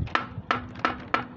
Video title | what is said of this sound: गुलदाउदी-पौधा (Flower Plant) ऐसा, तो सोइल मिक्सचर ( Soil Mixture ) कैसा ? | आवाज़ इसकी बदल गई, टन की आवाज़ नहीं आ रही, तो आपको ये गमला नहीं लेना है। ये अंदर से क्रैक है, आपको या हमारे को दिखाई नहीं देता।